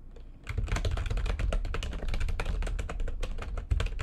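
Long nails and fingertips type quickly across the keys of a backlit plastic computer keyboard. After a brief quiet start, the result is a dense, continuous run of short clicks and taps over a heavy low thump.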